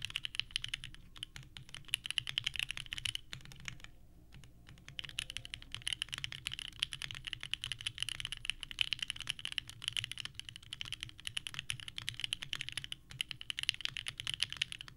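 Both hands type continuously with the fingertips on a small 65% mechanical keyboard with a purple case and white ABS keycaps, resting on a desk mat. Rapid, clacky key presses give dense, bright, short clicks centred around 3 kHz. The typing pauses briefly near the four-second mark before resuming at a steady pace.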